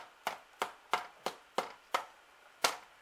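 Freshly baked finger bun scones are flicked on the tray after 12 minutes in the oven, giving seven short, hollow taps at an uneven pace. The hollow sound shows the scones are baked through and ready.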